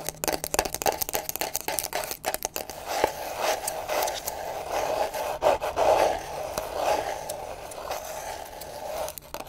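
Extra long pointed acrylic nails tap and scratch along the page edges and hard cover of a small closed paper book held in the hands. Quick, dry ticking taps come first, then longer papery scrapes. The scrapes have a mid-range rasp around 500 Hz and a light, bright edge, with almost no low end.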